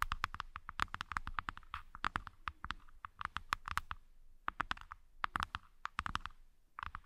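Long fingernails on both hands tap and scratch the inside bottoms of two open, empty halves of a light-wood hexagonal accessory box set side by side as trays. Quick, dry clicks land in dense bursts, each dying away almost at once, with a hollow woody tone around 1.2 kHz and faint scratchy rustles between the bursts, separated by brief pauses.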